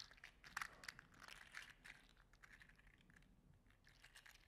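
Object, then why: 3D-printed plastic articulated slug toy. A gold-green 3D printed plastic articulated slug toy is held in the hand and squeezed and flexed with the fingertips. Its plastic segments rub and clack in a quick run of bright, dry crunching clicks with almost no ring. The clicks are loudest near the start, then settle into a softer crackle.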